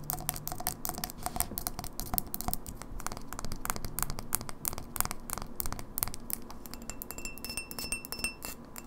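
Long fingernails tap quickly on the base and walls of a tall, empty, clear etched-glass pint glass held tilted over a wooden table. A dense, rapid stream of short, sharp clicks and light clinks plays over a low background rumble, with faint bright ringing tones of the hollow glass showing through toward the end.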